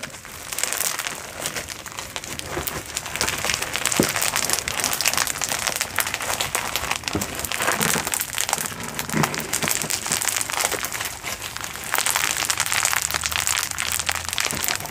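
A blob of glow-in-the-dark foam bead slime, solid, soft and sticky, is squeezed in the hands, pressed with long pointed nails, then stretched into a flat band. Dense, bright crunching and crackling from the beads runs steadily throughout, with sticky squelches mixed in.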